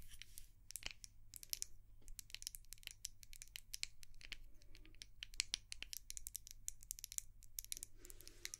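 Long nails tap rapidly on a small white glass candle jar and its dark lid, making a dense run of sharp, bright clicks and light scratchy taps that stop almost instantly. A low, steady hum sits underneath throughout.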